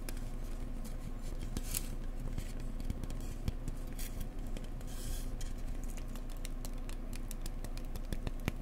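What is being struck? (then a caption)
Insulation board. Fingers gently tap an insulation board up close, mixing soft taps with some scratchy tapping. The steady run of dull, muted taps stays low and thuddy, each dying away almost instantly, with faint bright scratchy ticks over a low background.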